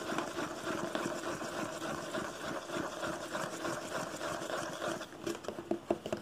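Fingertips tap and fingernails scratch the top and sides of a hollow red cardboard box printed with "ONE," held close. A steady dry scratching rustle with a hollow midrange tone fills most of the clip, then gives way to a few sharper, separate taps near the end.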